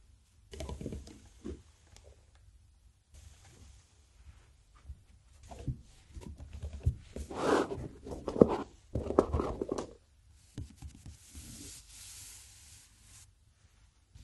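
A flat palm and fingertips tap and rub across the blue card cover of a large Fabriano watercolour paper pad lying flat. Soft, dull, irregular taps mix with papery brushing and rubbing. The sound is quiet and mostly low and mid, growing a little louder and busier in the middle before easing into lighter scratching.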